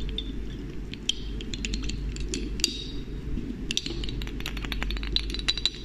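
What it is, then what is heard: Glass dropper bottle. A small dark-tinted glass serum bottle with a glass pipette dropper is held in the hand close to the mic while the dropper is lifted and pushed back into the neck, and long painted nails touch the bottle. Many quick, bright glass-on-glass clinks and light taps, with no lingering ring, sit over a steady low rumble.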